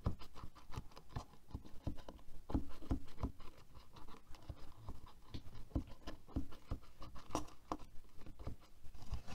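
Fingertips and nails quickly tap and scratch the bristles and back of a black plastic hairbrush lying on a table. A rapid, uneven run of short, dull taps and scratchy rustles goes on throughout. Each tap is low and stops almost at once.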